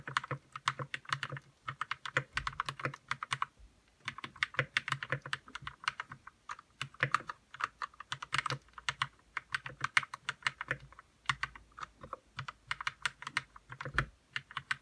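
Fingertips type on a white RK61 60% mechanical keyboard with plastic keycaps, lubed red switches and a hollow plastic case. Quick bursts of short, sharp clacks with a bright, hollow plastic ring come in runs separated by brief pauses, with an occasional deeper thud beneath them. The keystrokes die away almost instantly.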